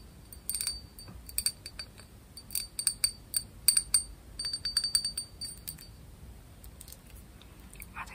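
A small, hollow, empty textured cut-glass cup, held close under red light, is tapped with long nails. Many quick, bright glassy clinks ring high and die away almost at once, coming in irregular clusters over a faint hiss.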